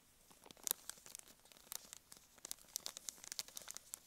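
Long nails scratch and squeeze a small, filled blue and white soft plastic wet wipes packet, crinkling its plastic film. A quiet, uneven run of sharp, bright crackles and crunches sits almost entirely in the high range with no low end. Each crackle cuts off instantly.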